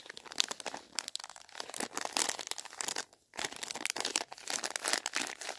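A flat, filled Swizzels Double Dip sweet packet of plastic film is held in both hands while fingertips with painted nails crinkle and rub the wrapper. Dense, bright crackling and crinkling comes in bursts, with a brief quiet gap past the three-second mark before the rustling resumes.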